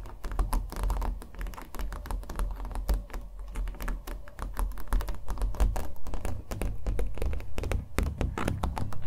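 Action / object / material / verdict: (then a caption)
tap / small painted canvas on a wooden stretcher frame / canvas / none. A small acrylic-painted canvas on a wooden stretcher frame, hollow backed, is held in both hands and tapped rapidly with fingernails. The taps come as a dense, continuous patter of short, dull, hollow thuds with a strong low-end body and almost no ring.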